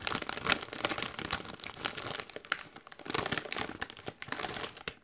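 A medium-size Doritos chip bag of metallized plastic, partly full of chips, is squeezed and crinkled by hands in white costume gloves. Dense, bright crackling and crunching comes in bursts, with short lulls, across the clip. Very little low end sits under the sharp, high foil crinkle, and it fades out at the end.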